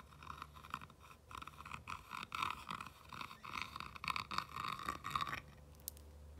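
A clear rod tool scratches and traces across a small whitewashed wooden pallet-style plank sign with black lettering, resting on a fabric cushion, following the textured wood and the grooves between the planks. Quiet, bright, raspy scraping strokes come in uneven bursts for about five seconds, then give way to a low steady hum before a brief sharp click at the very end.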